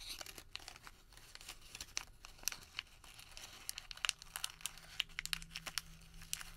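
A long white thermal paper receipt is folded, crumpled and twisted with fingers, giving a steady stream of crisp, bright crinkles and sharp crackles. The crackles are quick and dry with no ring, and a faint low hum sits underneath in the second half.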